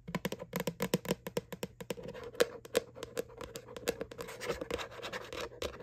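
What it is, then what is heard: Plastic bucket bottom. Fingertips and nails tap and scratch on the flat bottom of a white hollow plastic Halloween Boo bucket from McDonald's. Rapid, dry, short taps carry a hollow, mid-pitched plastic resonance, mixed with bright, scratchy strokes that blur into a steadier rustle toward the end.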